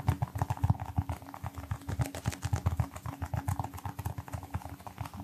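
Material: Rubber.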